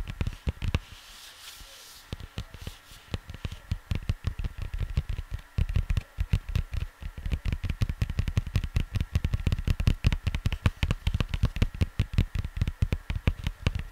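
Fingers tap on the cardboard sleeve of a vinyl record, making a rapid, steady run of soft, dull, low thuds with almost no ring. After a sparse, quieter opening with faint hiss, the tapping becomes dense and continuous through the rest of the clip.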